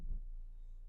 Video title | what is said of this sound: 2014 Vauxhall Insignia Design Nav Cdti | such a full solid sound coming from the door